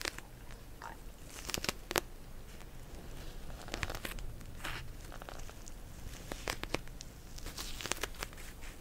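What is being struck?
Plastic gel bead cold pack.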